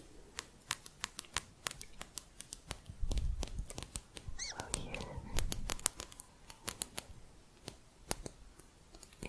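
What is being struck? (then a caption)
Thin metal crochet hook. Light fingertip tapping on a thin metal crochet hook produces a steady run of quick, sharp, bright clicks that die away instantly. Through the middle of the clip, a softer rustling, handling noise rises beneath the taps before the clicking continues alone.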